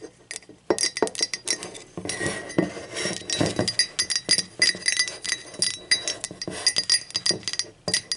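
Long acrylic nails tap quickly and irregularly on the wall, handle and inside of an empty, hollow speckled teal ceramic mug lying on its side. The result is a dense run of bright, glassy clinks and clicks with a faint ring around 2 kHz and higher. Each tap dies away almost at once, with brief pauses between the flurries.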